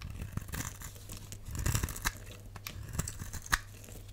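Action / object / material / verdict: scrape / glycerin soap bar / glycerin soap / none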